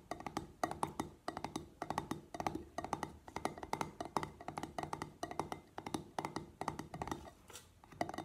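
Fingertips and nails tap the top of the pink-printed metal twist lid and the glass sides of an empty clear glass jar. The result is quick, quiet clusters of dry, woody-sounding clicks that ring briefly around 900 Hz with a bright edge.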